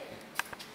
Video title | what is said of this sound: 🎈TUTORIEL BULLES EN GÉLATINE Comestibles pour GÂTEAUX CAKE DESIGN / How to make Gelatine Bubbles | c'est sec et la gélatine elle est plus molle